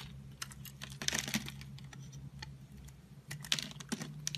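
A metal utility-knife blade shaves and scrapes curls off the edge and surface of a rectangular solid dark blue bar of soap embossed "SVOBODA", held in a hand with long pink nails. Short, bright, crisp scraping clicks come in quick bursts over a steady low hum, each dying away almost instantly.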